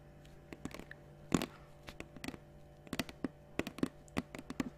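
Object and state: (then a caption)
Plastic water bottle. A large, clear, capped plastic water bottle held in one hand is tapped with long nails. About eighteen quick, soft, irregular taps give short, dull, hollow clicks with a low body, and one tap near the start lands louder. Each tap dies away almost at once over a faint, steady low hum.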